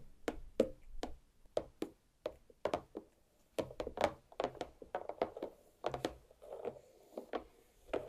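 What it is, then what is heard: Watermelon half, tapped with nails. Long black nail tips tap lightly on a large, solid watermelon half resting on a plate. About 25 quick, dull taps land in an uneven rhythm, each a hollow knock centered near 530 Hz with a faint bright click on top. Every tap dies away almost at once.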